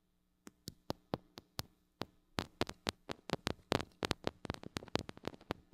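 Long acrylic nails tap and scratch the metal mesh grille of a small gold-colored mini microphone with a metal body and hollow head, held in one hand. Sharp, bright, dry clicks with no ring come evenly spaced at first, then speed up into a denser, scratchier run of taps.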